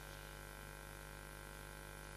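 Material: Nothing is struck.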